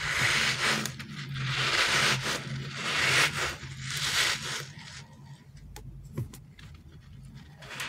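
Fingers and thumbs rub and press a solid, palm-sized green rubbery TPR dinosaur squishy toy, making a series of bright, hissy squeaking and scraping swells over a low steady hum. After about five seconds the rubbing softens into quieter friction with a few sharp little clicks.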